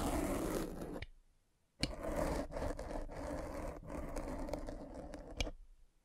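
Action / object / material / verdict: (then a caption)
scrape / foam microphone windscreen with a spiked roller / foam / none. A metal-spiked derma roller is pressed and rolled over a black foam windscreen on a microphone, producing dense, muffled scraping and crunching. The rolling runs for about a second, stops in near silence, then resumes with a sharp onset and continues in uneven rasping passes with a few brief clicks before fading out.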